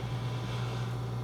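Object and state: Nothing is struck.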